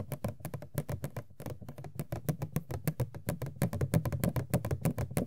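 Long nails tap and scratch the top of an empty cardboard Funko POP box for Sailor Jupiter that has a window opening. A quick, uneven run of dull, low-pitched taps with very short decay is mixed with light scratching.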